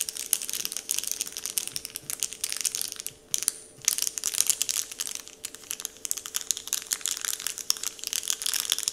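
Fingertips tap and crinkle a large, flat, heart-shaped Dove-printed paper candy wrapper sheet. They make a steady stream of soft, bright crackles and rustles with almost no low end. The crinkling briefly quiets around the third second, then resumes at the same gentle pace.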